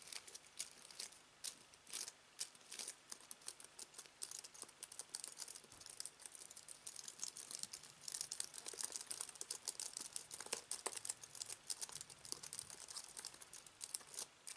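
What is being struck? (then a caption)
Aluminium and plastic computer keyboard. Fingertips press and type on the white plastic keys of a slim aluminium and plastic computer keyboard resting on fabric. The result is a quiet, steady stream of rapid, crisp clicks and taps, bright and dry with almost no low end, each one dying away almost instantly.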